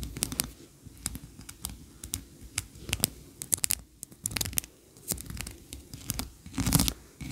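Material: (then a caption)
Wax. Long nails scratch and tap the ridged, tiered sides of a medium, solid white wax candle shaped like a Christmas tree, standing on a carpet. Many short, sharp clicks and bright scraping bursts come in irregular clusters over a soft low rumble, each dying away almost at once.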